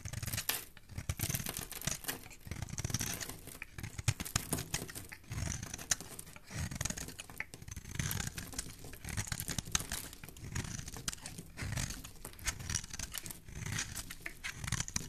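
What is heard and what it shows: A solid pale pink bar of soap held in the hand is shaved with a metal blade. The result is a steady run of dry, crisp scraping and tearing strokes with bright, hissy detail over a low soft thump. No talking is heard.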